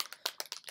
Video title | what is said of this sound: Walgreens Makeup Haul and Me Testing the Makeup Eraser Remover Cloth | shake it up really good it sounds very very liquidy